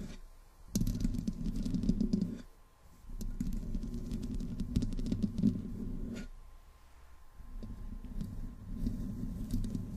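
Long green-painted nails on both hands slowly scratch the hollow metal mesh grille of a large black desktop USB microphone with no windscreen. The result is a dense, low, rumbling scrape centered around 200 Hz, with crackly ticks running through it. It comes in long passes that briefly fade near 2.5 and 7 seconds, over a faint steady hum near 1 kHz.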